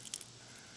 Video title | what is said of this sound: Cayenne Powder, make your own 🌶 🌶 😄 👍 come by and see how it is done. | I don't know if you hear how crispy they are